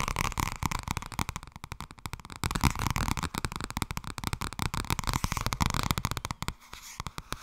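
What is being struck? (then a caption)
Softcover paper book. Fingers tap fast on the softcover book 'Blijkbaar wordt het toch ergens als je er niets aan doet'. The result is a dense, rapid flurry of short, dull, low-heavy thumps with very little ring, easing briefly near the end before a few final taps.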